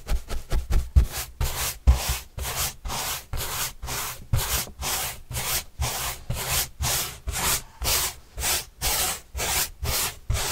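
Paintbrush bristles are rubbed across a large white printed corrugated cardboard panel held upright. About twenty brushing strokes come quickly at first, then settle into a steady rhythm of dry, scratchy swishes that reach up into bright hiss over a soft low rumble.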